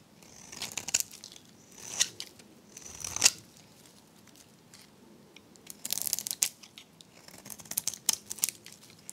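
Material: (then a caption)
Soap. A metal blade scrapes and cuts a dry, varnished, solid pink rectangular soap bar held in the hand, shaving it into flakes. Crisp, bright, crackling scrapes come in short bursts separated by quiet pauses, with almost no low end. A denser run of dry scratching follows near the end.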